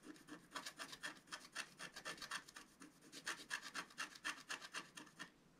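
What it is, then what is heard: Scratch art paper sheet. A wooden stylus scratches small strokes into a flat black wax-coated scratch art sheet lying on a table. Quick, fairly regular raspy scrapes come about four per second, each a short bright scratch with a hissy high edge. The strokes stop just before the end, leaving faint quiet.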